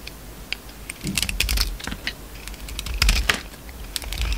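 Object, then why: Soap bar shaved with a blade. A utility knife blade shaves and scrapes crumbly pink soap from an oval solid soap bar with a green coating, held in the palm. A quick run of dry, crisp scraping clicks and crackles, bright and sharp, with short bursts of shaving over a low, quiet background.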